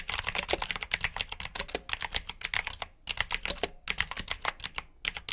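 Both hands type with their fingertips on a black plastic backlit mechanical keyboard with blue switches. Rapid, bright, clicky keystrokes come in bursts with brief pauses, each click short and sharp with almost no low end.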